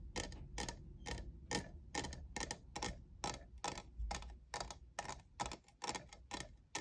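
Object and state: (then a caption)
Plastic studded tumbler. Fingernails tap the faceted side of a tall, hollow, lavender plastic jeweled tumbler that appears empty. The sound is a quick, unevenly spaced series of sharp, bright clicks, about two per second. Each click dies away almost at once over a steady low rumble.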